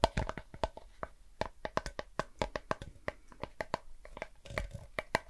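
A blue Pringles crisp can, a tall hollow composite cardboard tube with a foil lining, is turned in the hands and tapped or scratched with fingertips and nails close to the microphone. About two dozen quick, dry taps and clicks come in an uneven rhythm, each with a faint hollow tone around 660 Hz that dies away almost at once, mixed with soft scratchy rustling.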